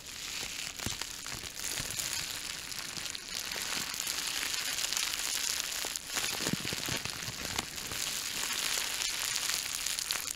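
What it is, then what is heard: Plastic bubble wrap being crinkled and popped. A small sheet of clear plastic bubble wrap is held in both hands close to the microphone and squeezed and crinkled with fingertips and nails to pop the bubbles. It makes a steady, bright crinkling with many sharp little pops and crackles scattered throughout and almost no low end.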